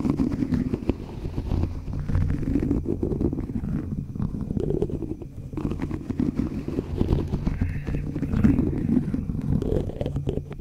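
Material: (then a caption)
Metal mesh. A thin white stick is scraped and tapped across the rounded, hollow metal mesh grille of a black USB condenser microphone held upright in one hand. The result is a steady, dense stream of close, muffled scratching and soft tapping, heavy in low rumble with little high content.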